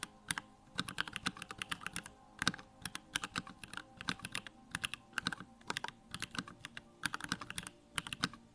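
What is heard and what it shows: Fingertips type rapidly on a small 65% Bakeneko65 mechanical keyboard with Durock lavender switches, a plastic case, white plastic keycaps and the backlight on. Quick bursts of short, bright clacks with a light low thock underneath come in uneven runs, separated by brief pauses.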